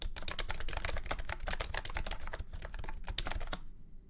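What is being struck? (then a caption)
Plastic keyboard with round keycaps. Fingertips type rapidly on a full-size beige and orange plastic keyboard with round keycaps and a hollow body, resting on a felt mat. A steady stream of sharp, bright clacks rides over a dull low thud, then the typing stops near the end, leaving a short quiet tail.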